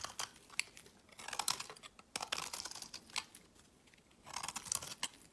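A solid white rectangular bar of soap is held in the hand and shaved into flakes with a metal knife blade. Quick bursts of dry, crisp scraping and crackling come in uneven clusters, bright and high with almost no low end. Each burst stops short with no ring, leaving quiet gaps between the shaving strokes.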